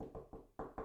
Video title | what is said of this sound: EPISODE 32 - Mal de Ojo | I'm knocking on my desk.